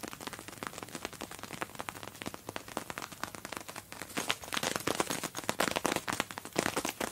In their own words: 11 seconds tingly tapping a plastic coated make up bag